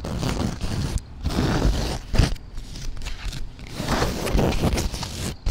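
Long black nails scratch the textured surface of a soft, padded grey woven polyester fabric cushion or bag. The result is a series of rough, rustling scrapes with a heavy low rumble underneath, broken by brief quiet gaps.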